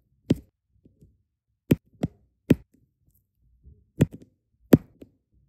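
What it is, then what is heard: Resin drills pressed onto adhesive canvas. Small solid resin diamond painting drills are pressed one by one onto an adhesive canvas with a plastic drill pen tip, in repeated light taps. Six short, dry ticks with a soft low-mid body land at irregular intervals, each dying away almost at once, with faint smaller clicks between them.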